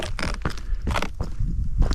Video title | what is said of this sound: Exploring the Balladonia telegraph station on the 90 mile straight, eyre Hwy WA, Urbex, Abandoned | you walk on the rocks and you can feel oh you can hear here hollow that's hollow